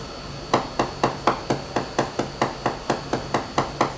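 A hammer's round side strikes 15 evenly spaced times on a cracked, delaminated area of a new Leopard catamaran's fiberglass hull, where the cracks run all the way through at a point presumably under torque. Each hit is a short, sharp tap with a quick-decaying hollow rattle. The area is to be ground off.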